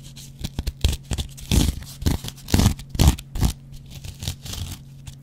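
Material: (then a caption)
Cellulose foam. A dry, hand-sized yellow cellulose kitchen sponge with a scouring pad is scratched and scraped with a metal double-edge razor blade. Short, irregular bursts of rough, crackly scraping and tearing-like rasps come and go over a faint steady low hum, with some strokes longer and louder than others.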